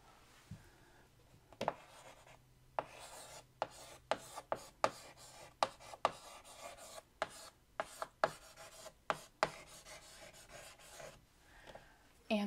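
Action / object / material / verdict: scrape / chalk on a wood-framed chalkboard / chalk / none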